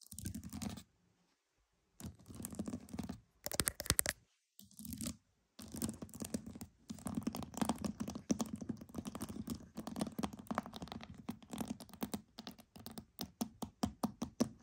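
Pearls are tapped and scratched, making dense bursts of tiny clicking, rattling scratches broken by short silent pauses. Toward the end, the sound turns into quicker, more separate light taps with a soft low body and a crisp bright edge.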